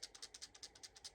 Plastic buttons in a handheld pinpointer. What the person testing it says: when you shake it you can hear them rattling around